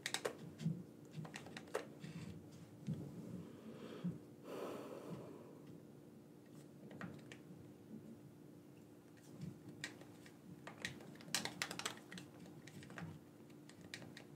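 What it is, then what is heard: Plastic game controller. A black wired, hollow, hand-sized plastic gamepad is held in both hands while its buttons are clicked with the thumbs. Quiet, sharp, bright clicks and soft taps come in irregular bursts over a steady low hum, with a brief soft breathy swell midway.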